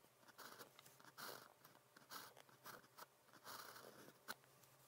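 A blue plastic ballpoint pen with a metal tip writes characters on thin practice paper printed with a red calligraphy grid. Quiet, dry scratching strokes come in short bursts with brief pauses between them, bright and papery with little low end.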